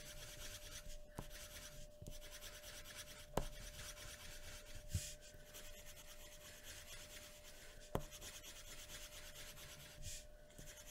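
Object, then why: Graphite pencil on a paper sheet over a wooden table. A graphite pencil rubs and scratches across a thin white paper sheet resting on a wooden table in continuous shading strokes. The result is a steady, low, dry scraping hiss with a faint steady tone running underneath. A few sharper ticks from pressure changes stand out from the strokes.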